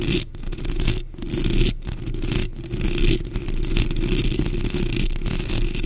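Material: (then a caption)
Metal mesh. Long pink nails scratch and tap a black metal mesh microphone grille, first with both hands and then with one. A dense, fast, uneven scratching and tapping fills the clip with a heavy low rumble and only faint high hiss. Brief quieter dips break the steady texture.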